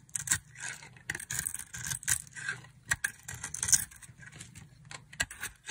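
A utility knife blade shaves curls off a solid, oval, palm-sized pink bar of dry soap. The scraping comes in a series of short, crisp, bright strokes with little low end, each dying away quickly between passes.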